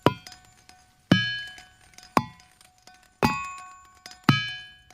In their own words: there's a field in pennsylvania called ringing rocks where it's this giant boulder field and you go out there and you hit it with these hammers and it sounds like a chime or a glockenspiel